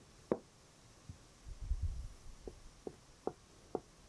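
Knuckles and fingertips of a half-curled hand knock on the hollow drawer front panel of a large glossy wooden chest of drawers. Five short, dry, hollow knocks with a mid-range tone die away almost instantly, the first one alone and the last four spaced more closely. A faint low rumble is heard between them.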